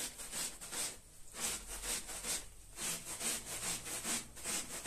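A small, traditional red patterned wool pile rug lies wet and foamy, flat on the floor, and is scrubbed with a long-handled stiff-bristled push broom. Rhythmic back-and-forth strokes make bright, hissy, wet swishing sounds at a steady brisk pace, with two brief pauses in the scrubbing.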